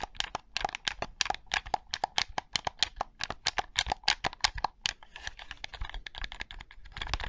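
Fingertips and nails tap and click the buttons of a black Sony PlayStation controller with a hollow hard plastic shell, held in both hands close to the microphone. Sharp, dry, bright clicks come in a quick, fairly even series for about five seconds, each dying away at once. They then turn denser and softer, blurring into a scratchy patter that grows slightly louder at the end.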